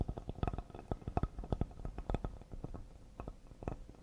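Fingertips and short nails of both hands tap fast on a solid cedar serving board held upright. A rapid, uneven run of short, dull knocks sits mostly in the low range, with faint brighter clicks from the nails. Each tap dies away almost at once.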